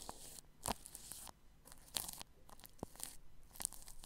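A paintbrush brushes and rubs plastic cling film wrapped over the grille of a ball microphone. It makes close, crinkly, crunching scratches in uneven bursts, with sharp, bright rustles standing out over a soft, steady hiss.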